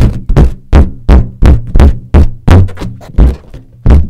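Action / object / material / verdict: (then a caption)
tap / inflated latex balloon / latex / none. Long nails and fingertips tap and scratch around the knot and along the sides of a large, hollow, air-filled green latex balloon. Eleven deep, hollow thumps land at an uneven, unhurried pace, each dying away quickly. The sound is all low, boomy resonance with no bright edge.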